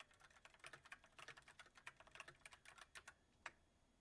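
Fingertips of both hands type continuously on a full-size backlit mechanical keyboard with white plastic keycaps on a silver metal frame. Around twenty quick, bright, dry clicks come in an uneven run, each fading almost instantly. The typing ends with a pause and one louder, isolated keystroke.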